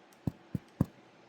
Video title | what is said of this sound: Sourdough made easy - with what you already have - mini loaf recipe | if you tap on it, you hear that thud? That's the thud of doneness. It's done.